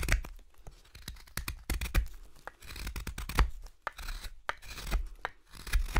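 A steel knife whittles a solid pale wooden spoon blank of light carving wood, with the handle held in both hands, in short paring cuts. Quick, dry scraping and shaving strokes follow one another closely, each with a crisp, bright rasp over a dull low thump. The sounds die away almost instantly, with no ring.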